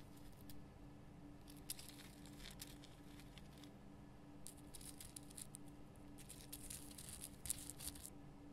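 Long fingernails scratch the rough crystal sides of a large pink Himalayan rock salt lamp, making quiet bursts of bright, scratchy rasping. The bursts come in clusters over a steady low hum.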